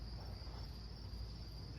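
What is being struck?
Nothing is struck.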